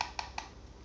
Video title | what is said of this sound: Unboxing drone murah 300 ribuan -- Drone E99 pro | saat diketuk, bunyinya seperti plastik. Hanya plastik mainan standar